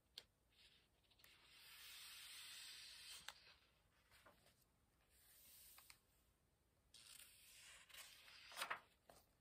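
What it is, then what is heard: Paper book pages being turned. Fingertips lift the thin printed paper pages of an open hardcover book and let them flick over while turning them. Soft, bright papery swishes and rustles rise and fade, broken by short crisp flicks as pages snap over. It is quiet throughout, with almost no low end.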